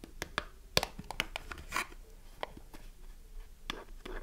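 Long nails tap and scratch the printed side and end panels of a small cardboard soap box with a bar inside. A quiet series of sharp, dry clicks and taps is broken by short bright scratching strokes. Each tap stops almost instantly with no ring.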